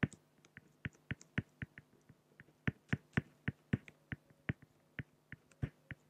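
A pen makes short, scratchy strokes on a flat, solid acrylic glass (plexiglass) sheet. About 25 sharp, clicky taps with brief bright scratch tails come at an uneven pace over roughly six seconds, each dying away almost instantly against a quiet background.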